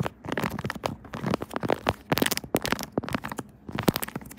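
Long nails scratch and tap on a pink silicone Kirby phone case with raised buttons on a smartphone, giving a dense run of short, dry crackling clicks and scrapes with bright edges. Near the end, a hand covers the case.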